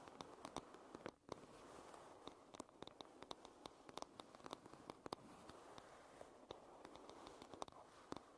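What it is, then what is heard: Wooden hairbrush. Long acrylic nails quickly tap and scratch the light wooden back of a solid-wood hairbrush. Many sharp, short clicks stand out over a steady, dry scratching hiss, with no ringing after each tap.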